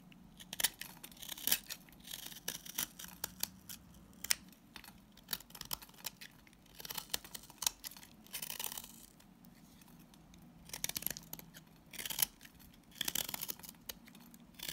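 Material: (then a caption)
Salt soap. A box-cutter blade shaves and scrapes the surface of a hand-held, palm-sized solid green bar of coarse salt scrub soap, and flaky shavings fall off. The sound is a series of dry, bright, crackling scrapes and short gritty strokes, with some longer rasping passes in between. It is mostly high-pitched, with very little low end and no ring.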